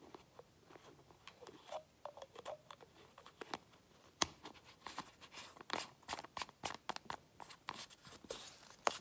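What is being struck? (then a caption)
Small plastic paint bottle and cap. Fingernails scratch and tap the tan cap and neck of a small light-blue plastic craft paint bottle held in the other hand. The result is a quiet run of short, dry clicks and scratchy ticks with a bright, crisp edge and almost no low end. Each tap dies away almost instantly.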